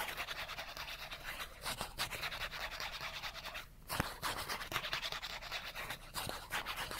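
Fingernails rapidly scratch the edge of a small, thin cardboard character card held in one hand. The result is a dense, bright, rasping scratch that goes on almost continuously, with a short pause near the middle followed by a sharp tick.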